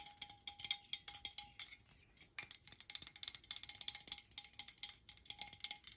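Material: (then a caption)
Metal. Long nails tap quickly on the body and cap area of a metal aerosol spray can held upright, giving around thirty bright, thin metallic clicks. Each tap dies away almost at once, with a faint ringing tone near 800 Hz under the high ticks and almost no low end.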